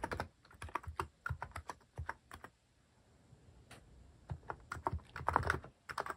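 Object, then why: Plastic mechanical keyboard. Fingertips type repeatedly on a cream plastic-case mechanical keyboard fitted with cat and paw-shaped plastic keycaps. Short, dry clacks with a low thock land in quick bursts, then a quiet lull with a few faint taps before the typing picks up again. Each keystroke stops almost instantly with no ring.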